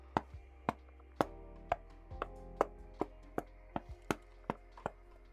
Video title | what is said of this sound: Squishy keys feel good? - Niz Plum x87 Review | the knock test, as you'll see in a second, was quite a bit hollow